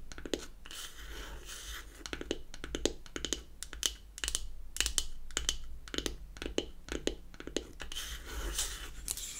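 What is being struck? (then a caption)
Closed beech-wood powder compact. Long acrylic nails tap and scratch the top of a closed, hollow, square unfinished beech-wood powder compact. Quick, dry, hollow clicks come in rapid irregular bursts, with bright scratchy rasps between them. Each tap dies almost instantly over a steady low hum.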